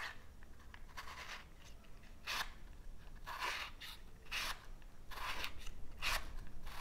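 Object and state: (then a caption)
Cardboard matchbox. Fingernails rub and rasp along the edges and drawer of a small cardboard matchbox, which is partly open with matches inside. Short, bright scratchy bursts come and go over a steady low rumble, each fading quickly.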